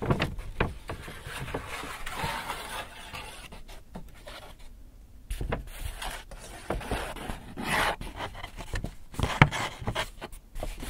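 Hands tap and scratch the sides of an empty white Hudson's Bay paper shopping bag. Soft, dry taps mix with scratchy paper rustles at a quiet, uneven level, with a brief hush around the middle. Each tap dies away almost instantly.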